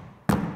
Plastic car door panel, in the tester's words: frapper rapidement le panneau de porte pour entendre ce qui vibre encore sur le panneau de porte